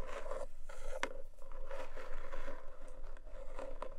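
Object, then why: Cardboard gift box. Long nail tips of both hands scratch across the top of a long, narrow black cardboard gift box with a textured paper surface, lidded and probably hollow with unknown contents. A steady, dry rasping scratch runs throughout, with a mid-range hiss and occasional sharper, brighter clicks of the nails.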